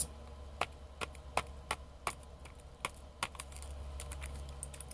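Fingertips and nails tap and scratch a small rectangular cardboard product box with a green-and-white label, held in both hands. Short, dry, bright clicks land at an uneven pace over a steady low hum, and each one dies away almost at once. Toward the end, the taps grow softer and blend into a faint, continuous scratching.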